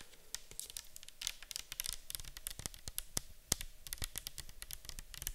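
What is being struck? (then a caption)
Plastic bottle of liquid. A clear plastic micellar water bottle full of liquid is held in the hands, tilted, and tapped with long acrylic nails. The result is a rapid, uneven run of short, bright clicks and ticks with almost no ring, some landing with a duller low thud.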